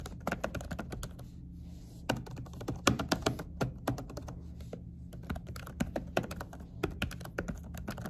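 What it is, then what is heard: Laptop keyboard with silicone cover. Fingertips of both hands with short natural nails type quick tapping key presses on a laptop keyboard under a dark silicone cover with white key letters. The soft, muffled taps come in uneven bursts with brief pauses, each dying away almost instantly. A steady low hum sits underneath.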